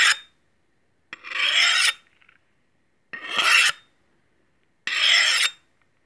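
A stainless steel meat cleaver, held in hand, has its blade scraped along a steel honing rod in four separate strokes. Each stroke is a bright, rasping metallic scrape centered around 2.7 kHz. It stops cleanly with only a brief ring before silence.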